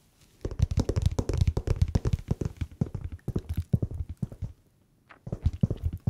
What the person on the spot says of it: 얼핏 들으면 약간 가죽 태핑하는 소리처럼 들려요